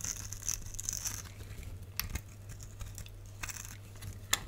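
A box-cutter blade scrapes and carves the surface of a solid red soap bar with white stripes, held in the hand. Soft, dry scraping and crumbly crunching come in bright, airy bursts over a steady low hum, with a few sharper clicks standing out.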